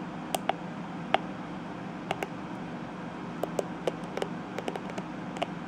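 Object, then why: Plastic hairbrush bristles. A fingertip and nail brush and flick across the tips of dense purple plastic bristles on a detangling hairbrush. About 15 short, dry ticks and clicks centred near 770 Hz with bright edges, each dying away almost instantly. A steady low hiss and hum sits underneath.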